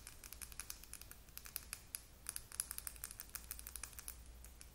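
Long acrylic nails rapidly tap a small, slim clear plastic Sally Hansen lip gloss tube with purple gloss inside and a silver cap, held in both hands. The result is a fast, irregular stream of sharp, bright clicks over a faint low hum.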